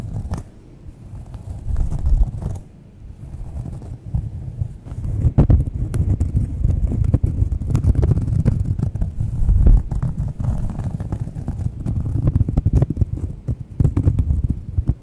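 Long nails scratch and tap the face of a thin, solid, round cork coaster held close to the mic. The result is a dense run of soft, dull scrapes and muffled taps, heavy in low, boomy rumble with almost no brightness. The level swells and dips with short quieter pauses throughout.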